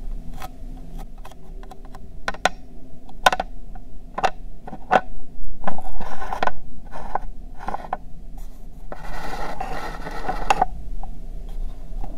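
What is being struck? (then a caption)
Plastic toy truck. Long nails tap and scratch a hollow red plastic toy truck with an elephant sticker on it. Sharp, quick clicks come at an uneven pace over a steady low hum, broken by longer rasping scratches around the middle and again toward the end.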